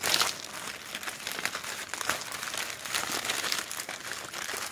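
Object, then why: Glossy printed paper flyers. Fingertips riffle through a pile of thin, glossy printed advertising flyers resting on a wooden surface and crumple them. The result is a steady, bright crinkling and rustling with quick crackly bursts and almost no low end.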